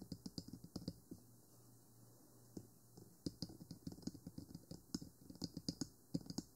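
Fingertips and nails tap the lower body and white silicone ears of a 3Dio Free Space binaural microphone, a small hollow black plastic box on a stand. A quick run of short, hollow taps with bright clicky nail ticks gives way to a near-silent pause of about two seconds, then a denser burst of tapping. Each tap dies away almost at once.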